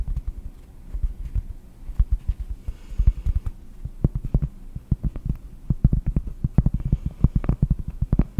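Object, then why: Cork. Cork is tapped in quick, uneven succession, producing dull, low thuds with almost no ring. The taps come in irregular bursts, some softer and some sharper, over a faint low background hum.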